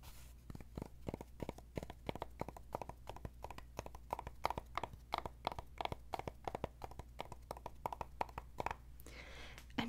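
Long acrylic nails rapidly tap and scratch the flat top of a medium-sized black velvet-covered jewelry display stand with a bar-shaped top on a post. The result is a quick stream of dry, short clicks with a muted midrange tone, over a steady low hum. The clip ends with a softer, brighter scratching brush across the velvet.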